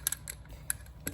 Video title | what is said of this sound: LGT Darth Maul Saber (part 2) | you hear that shake it's this part that's the part that's shaking